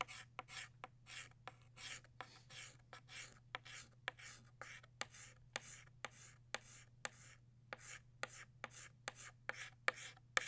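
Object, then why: Chalk stick on a chalkboard. A blue chalk stick rubs and scratches across a flat black chalkboard to shade in a drawing of a butterfly. Soft, bright, raspy strokes repeat at a brisk, uneven pace, broken by about 19 sharp, dry ticks as the chalk strikes the board. A faint, steady low hum runs underneath.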